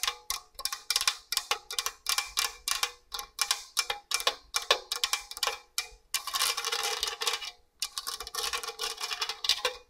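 Long orange nails scratch the fine grating face of a hollow stainless steel box grater in quick, separate strokes, then a nail taps the other side. Each stroke gives a bright, rasping metallic scrape with a short ring, and the sound runs into longer, continuous scraping near the end.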